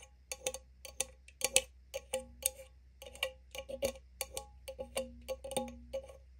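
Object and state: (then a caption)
Opened aluminium drink can. Long nail tips tap on the pull tab and lid of an opened small green aluminum drink can with a gold lid. The result is a quick, uneven run of sharp, bright metallic ticks with a short, faint ring. Some taps carry a lower hum.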